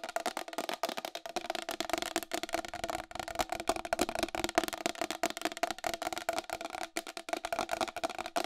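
Long acrylic nails tap quickly on the face and rim of a round white plastic wall clock with a hollow case. A dense run of sharp, clicky taps, each dying away almost instantly, carries a hollow tone around 680 Hz with bright edges and almost no low end.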